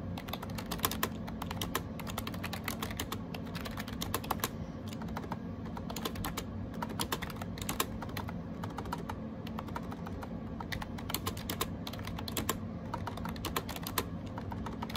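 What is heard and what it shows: Fingertips type rapidly on a gray AJAZZ 308i wireless Bluetooth keyboard with round plastic keycaps. A dense, steady stream of short, bright plastic clicks and taps runs throughout, each dying away almost instantly. A constant low hum sits underneath.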